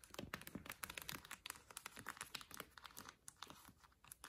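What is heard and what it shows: Long lilac nails scratch and tap across the cardboard sleeve spines of a row of vinyl LPs on a shelf. It's a quiet, rapid run of short, dry taps and papery scratches with a bright, crinkly edge and almost no ring after each hit.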